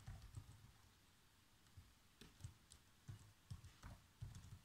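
Fingertips type slowly on the black plastic chiclet keys of a laptop keyboard, producing soft, irregular taps. Each tap is a quiet, short, low thud with a faint bright click that dies away almost at once, separated by brief pauses.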